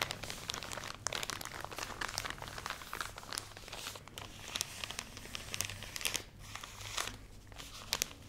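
Long nails scratch and squeeze a full plastic package of cotton pads, producing dense, bright crinkling and crunching with many quick overlapping crackles. A faint low hum sits steadily underneath throughout.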